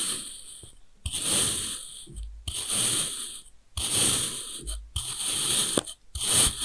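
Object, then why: Block of packed kinetic sand cut with a steel knife. A steel kitchen knife repeatedly slices thin pieces off the beige end of a long, solid bar of packed kinetic sand made of joined red and beige sections. Each cut makes a bright, gritty, crunching hiss that rises sharply and fades, with brief near-silent pauses between strokes.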